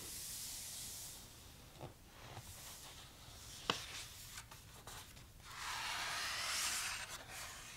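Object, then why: Softcover book with coated paper pages. A palm and fingertips rub over the coated paper pages of a large, thick softcover photo book lying open, then the pages are turned. Bright, hissy rubbing at the start and end surrounds quieter brushing and a few short crisp page flicks in the middle.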